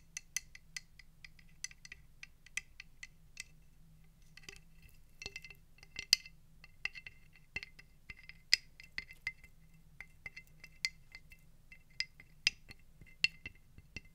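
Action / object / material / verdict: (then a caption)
tap / conch shell / shell / none. A conch shell is tapped repeatedly at an uneven pace, giving quiet, bright, high-pitched clicking taps. Each tap dies away almost instantly over a faint low hum.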